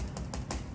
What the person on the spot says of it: if you tap the outside it should be hollows